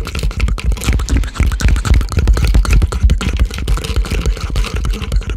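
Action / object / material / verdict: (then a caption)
tap / plastic drink bottle / plastic / none. Fingertips and nails rapidly tap a clear plastic Prime-style sports drink bottle of about 500 ml with a red and white label, striking its ridged body and cap while it is held close to the microphone. The result is a steady, irregular stream of short, dull plastic taps and light clicks with a heavy, booming low end and very little ring.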